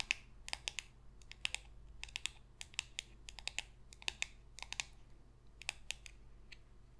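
Long pink fingernails tap rapidly on a small, thin, glossy coated-cardboard football trading card held upright in one hand. The result is sharp, dry, bright clicks in quick, irregular bursts that stop dead with no ring, over a faint low hum.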